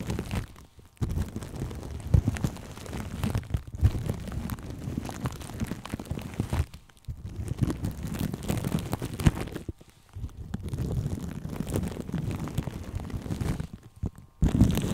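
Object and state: Plastic cling film over a microphone.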